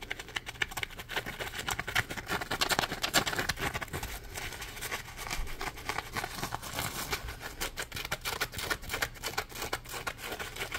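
A yellow Scrub Daddy sponge, a hand-sized solid textured block of polymer foam, is held up and scratched and tapped with fingertips and nails. Dense, rapid, dry scratches and soft taps crackle brightly with very short decay over a faint low hum.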